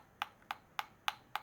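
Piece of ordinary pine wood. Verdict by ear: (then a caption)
Hollow. Ordinary pine wood, taken from around the outside of the same piece as a resin-rich fatwood section, is tapped five times, giving short, hollow-sounding knocks with energy centered around 800 Hz–3 kHz and almost no ring. This plain wood sounds hollow, unlike the dense sound of fatwood, and it is also lighter and different in color.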